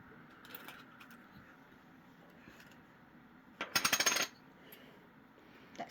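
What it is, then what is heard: Poker chip with a metal insert. A poker chip with a metal insert inside, heavy enough to stick to a magnet, gives a brief burst of about five rapid, bright, high-pitched metallic clicks against a quiet background. The clatter sounds distinctly like metal.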